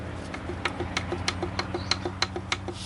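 A steel connecting rod on the crankshaft of a Chrysler 3.5 engine, during teardown, is rocked back and forth by hand to check its bearing clearance. It makes a steady series of light, sharp metallic taps about every third of a second over a low background hum. The tapping shows the rod has slight play.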